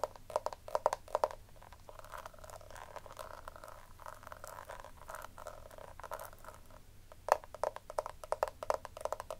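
Long nails tap and scratch the raised lace-pattern lid of a small, round, hollow pink plastic compact powder case. Quick, dry clicking taps with a hollow midrange tone open the clip, then give way to a steady, softer scratching rasp across the textured lid. Sharp taps return near the end, over a faint low hum.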